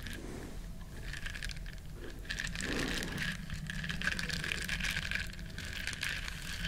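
Long nails scratch and rub the bristles of a small, flat, solid yellow silicone duck-shaped scrubber. The result is a steady, dense scratchy rustling with a bright edge, a faint sustained tone around 1.6 kHz, and a low background rumble.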